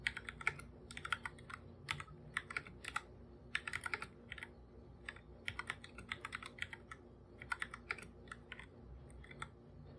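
A full-size black computer keyboard with plastic keycaps, a hollow device, is typed on continuously with bare fingertips. It makes quick bursts of bright, crisp plastic clicks that stop almost instantly, with short pauses between the runs of keystrokes over a faint, steady low hum.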